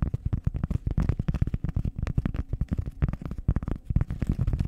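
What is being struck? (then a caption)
Round cork pad. A flat, solid, round cork disc is held with both hands against the mic and scratched with long nails. Rapid, dense bursts of scratching come through as a deep, muffled rumble with almost nothing bright on top, each stroke cutting off quickly.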